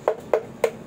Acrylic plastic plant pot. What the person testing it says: pag pinitik nyo, ayan parang siya, plastic lutong. Actually, nababasag to